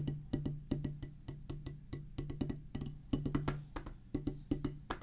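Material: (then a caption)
Rubber. A solid oval drum practice pad, a black rubber top on a pressboard or wood base, is drummed with wooden drumsticks in a quick, uneven pattern of rapid taps. Each hit is a dry, short knock with a low, pitched thud that dies away almost at once, with a few stronger accents among the softer strokes.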